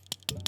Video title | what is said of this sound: 364 Shooting Infrared With a Phone | I'm tapping my finger on the sensor, but I'm not tapping it on the sensor. I'm tapping it on a filter that is in front of the sensor.